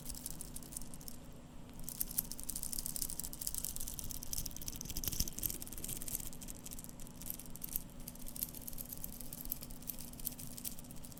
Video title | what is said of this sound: ASMR - Seiko SBDC053 Watch Sounds (Whispers, Tapping, Scratching, and Turning) | the bracelet is jingly, just a bit. However, it's a very dense sounding jingly sound